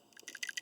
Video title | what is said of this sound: Ford Ranger PCV | you shake it and it rattles, it means you're still good